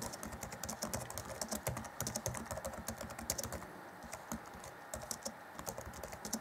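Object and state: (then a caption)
Plastic laptop keyboard typing. Fingertips of both hands type rapidly on the black plastic chiclet keys of an Acer Chromebook C20 (2014), set in a grey laptop keyboard deck. The result is a dense run of short, bright plastic clicks with soft low thumps, briefly thinning to a lull around the middle before the fast typing picks back up.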